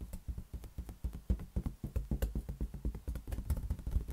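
A large, hollow, inflated green latex balloon is tapped and patted with the fingertips in a quick, uneven run of about four taps per second. Each tap is a short, deep, hollow thump with almost no ring and very little brightness.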